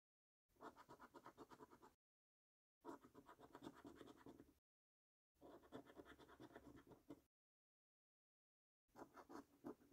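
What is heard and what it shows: The edge of a coin scratches the latex coating off a paper £25 5x £1 Million Prize Portal National Lottery scratch card in close-up. Four separate bursts of quick, rhythmic rasping strokes come with short silences between them. The scratching sounds dry and papery, with most of its energy in the low-mid range.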